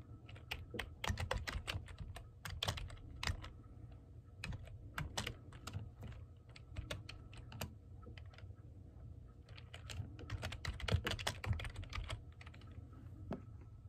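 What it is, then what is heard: Plastic computer keyboard being typed on. Fingertips and nails type on a black plastic computer keyboard with hollow keys, producing irregular bursts of quick, bright, clicky keystrokes with short pauses between flurries. A steady low hum sits underneath throughout, and at the end one hand lifts off the keys.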